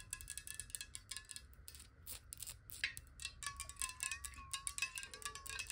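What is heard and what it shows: Long nails tap rapidly on a glass water bottle with some water inside. The taps come as a quick, uneven stream of bright, short clicks over faint ringing tones that shift in pitch as the water moves in the glass.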